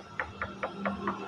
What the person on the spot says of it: Pag kinatok mo kasi yan, malalaman mo eh. Ito kasi yung metal.